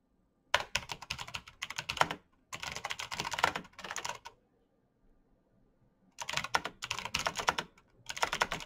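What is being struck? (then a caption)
Plastic mechanical keyboard with clicky switches. Bare fingertips type rapidly on the keycaps of a black plastic mechanical keyboard with clicky switches. Bursts of sharp, bright clicks come in quick runs, broken by brief pauses and a longer quiet gap midway before the typing resumes.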